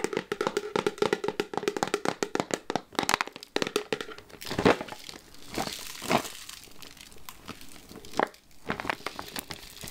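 Long nails rapidly tap the black plastic lid and sides of a clear plastic candy jar full of chocolates, making dense, crisp clicking with a crinkly, crackling edge. The taps come in quick runs early on, then thin out into scattered louder knocks and rustles.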